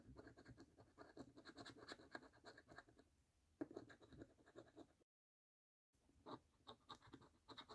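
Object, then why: Paper scratch card with scratch-off coating. A coin rapidly scratches the scratch-off coating of a thin, flat paper National Lottery "Snack Stack" £1 Million scratch card held in one hand. The result is a steady run of dry, gritty scrapes, with a brief silence partway through before the scratching resumes.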